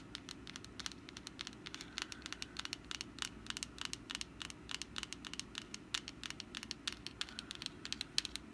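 Long nails scratch and tap the wrinkled surface of a medium textured papier-mâché pumpkin decoration with wire tendrils, likely hollow, held in hand. The result is a quick, irregular run of short, dry, bright ticks and crackly scratches that stop almost instantly, over a faint steady low background hum.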